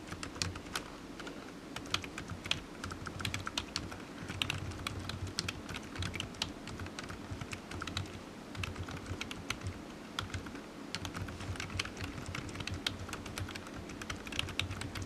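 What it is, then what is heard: Plastic computer keyboard being typed on. Fingertips type steadily on a low-profile black plastic computer keyboard resting on a desk mat, its hollow keys giving quick, bright, clicky taps that run continuously for about fifteen seconds. A faint steady low hum sits underneath the tapping.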